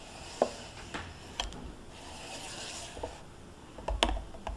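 A full, sealed single-serve Greek yogurt cup, small and made of plastic with a foil lid, rests on a cloth while long painted nails tap and scratch its foil-and-plastic top, with a metal spoon lying untouched beside it. Seven sharp, bright clicks stand out over a soft, steady rasping scratch, the last few bunched closely together.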